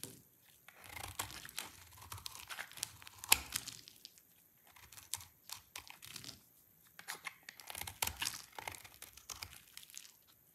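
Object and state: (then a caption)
Dry soap bar being scraped. A solid, dry pink soap bar is held in the hand and shaved and scraped with a snap-off utility knife blade, piling curled shavings below. The audio is quiet, bright, dry crackling and crisp scraping that comes in several bursts of rapid strokes with short pauses between. One sharper snap stands out early on.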